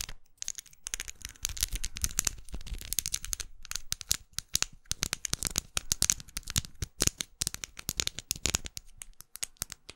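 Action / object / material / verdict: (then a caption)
tap / plastic lipstick case / plastic / none. A closed, small red faceted plastic lipstick tube, held up close, is tapped and scratched with long glitter acrylic nails. Many sharp, dry clicks come in quick, uneven bursts, with bright scratchy rasps between them and almost no ring after each hit.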